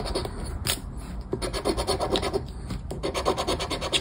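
A flat paper scratchcard lies on a wooden table while its scratch-off coating is scraped with the edge of a round black plastic scraper held between the fingers. Quick, irregular rasping strokes follow one another almost without pause, giving a dry, bright scratching texture over a soft low rumble.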